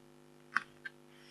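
A red-handled scraper pen scratches short strokes into the black coating of an A4-size black scratch-art card (coated board). Two brief, dry scratches stand out, the first louder than the second, each centered around 1.5 kHz with a bright edge, over a faint steady hum. A soft high hiss rises at the very end.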